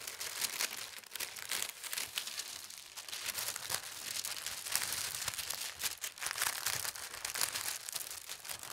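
A large, thin white tissue paper sheet lies flat on a fabric tablecloth while fingertips with long red nails smooth and rub it, then lift its edge for folding. The result is a continuous, bright, crisp crinkling and rustling with quick papery swishes that rise and fall in loudness throughout, with almost no low end.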